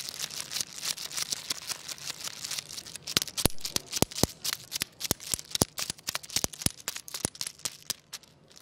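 A long, segmented wooden crocodile toy is wiggled by its head with the fingers on a tile floor. Its solid wooden segments clack together in a rapid, dry, bright rattle of short clicks with almost no ring. The clicks grow sparser and sharper toward the end.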